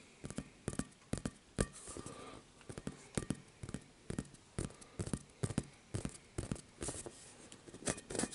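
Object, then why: Inflatable vinyl ball. Short fingernails and fingertips tap and scratch the textured surface of a rainbow-colored, hollow inflatable vinyl ball, up close. Quick bursts of crisp, dry taps alternate with brief scratchy rustles, each tap carrying a soft, low, hollow thump that dies away almost instantly.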